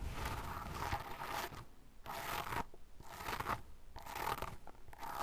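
A small brush with a dark bristle tip digs and scratches repeatedly into the same spot in a loose mound of pale fine sand. The result is five bursts of crunchy, gritty scraping with a bright hiss, separated by short near-silent pauses.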